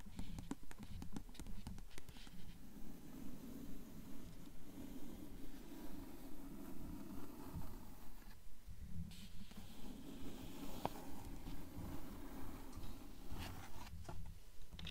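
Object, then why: Paper fore-edge of a hardcover book. A blue hardcover book is held partly open while long acrylic nails scratch across the stacked paper fore-edge of its text block. The result is a quiet, steady, rhythmic rasping, mostly low and dull, with short dry strokes that die away almost instantly.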